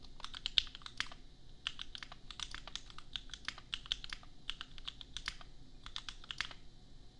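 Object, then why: Plastic mechanical keyboard. A custom 60% mechanical keyboard with Gateron Milky Yellow switches and red and white plastic keycaps, resting on an anime desk mat, is typed on with the bare fingertips of both hands. A steady run of quick, dry, bright plastic clacks centered around 3.6 kHz lands at an uneven rhythm, each stopping almost instantly. Underneath sits a faint low background rumble.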